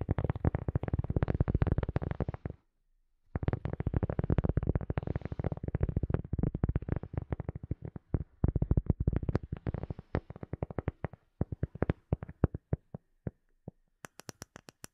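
A round, solid, light cork coaster disc is held close to a microphone and tapped and scratched with fingertips and nails. Rapid, dense, dull low thuds and scratches run on with a short pause near the start, then thin out into sparser taps, ending with a few bright, crisp clicks.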